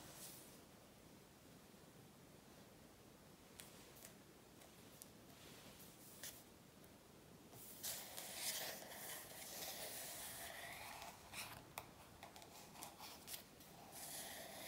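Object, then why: Glossy paper cover of a paperback workbook. Long nails tap and scratch the glossy back cover of an A4 paperback workbook lying flat on a table. Soft, bright, clicky taps are scattered through a quiet first half. From about eight seconds in, a louder, hissy scratching takes over, broken by more sharp taps toward the end.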